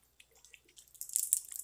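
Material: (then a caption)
Glass. A glass bottle of Bush Ranger Grooming Co. "dark brew" coffee-scented beard oil, with a small moonstone gem inside, is shaken. Faint, sparse clicks build into a denser, bright, high-pitched rattle of the loose gem against the glass, mixed with light liquid sloshing from the oil.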